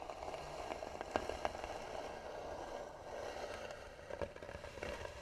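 Long nails scratch slowly across the lid of a hollow, tan carved wooden box, producing a steady dry scraping. The scraping has a woody resonance centered around 600 Hz and is broken by occasional sharper clicks and ticks.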